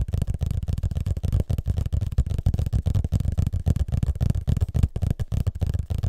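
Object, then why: Hardcover paper book. Fingertips and nails of both hands tap and scratch the closed, solid cover of a large hardcover paper book with a parchment-pattern cover, held flat facing the mic. The result is a rapid, irregular stream of soft, dull, low thumps with short scratchy textures, each dying away almost instantly.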